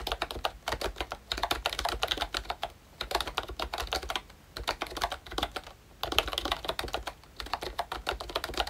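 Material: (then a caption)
Plastic. Fingertips type on a pink plastic retro membrane keyboard with round keycaps and a hollow body. It gives bursts of quick, dry, clacky keystrokes with bright plastic clicks and almost no ring, broken by short pauses. A brief faster flurry comes near the six-second mark.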